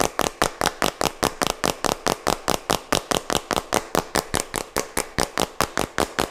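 Fingertips and nails tap and scratch the white plastic cap and body of a small plastic jar held close to the mic. About 31 short, dry, bright clicks come in a fairly steady rhythm of roughly two per second, each dying away almost instantly with little low end.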